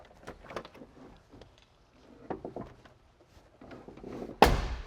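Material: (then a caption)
Steel. A door on a restored steel-bodied 1978 Chevy C30 dually is shut after a few seconds of faint handling clicks and rustles. It lands as one loud, heavy slam with a short, low thud that dies away quickly. The door closes with a solid sound.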